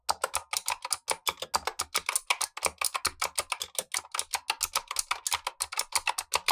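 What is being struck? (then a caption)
Plastic mechanical keyboard. Gloved fingertips type continuously on a black tenkeyless Razer Huntsman V2 mechanical keyboard with plastic keycaps and clicky switches. A rapid, steady stream of sharp, bright clicks rings out, each keystroke crisp and short with almost no low end.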